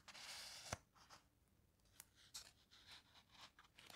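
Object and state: Paper page scratched by fingernails.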